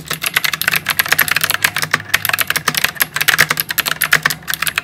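Fingertips type continuously on a white full-size plastic mechanical keyboard with round plastic typewriter-style keycaps and RGB lighting. A steady stream of sharp, clicky keystrokes with bright, snappy tops and a quick, dry decay comes through, with no pauses longer than a moment.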